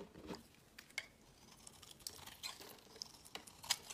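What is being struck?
Bar of soap scraped with a knife blade.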